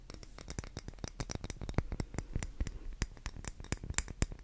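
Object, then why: Wax pillar candle tapped with fingernails. An unlit, solid, pink cylindrical wax pillar candle is held in the hands and tapped and scratched with long green-painted nails. A quick, dense run of short, dry clicks and taps follows, each with a soft low thud and bright crisp tips that die away almost instantly, over a faint scratchy rustle.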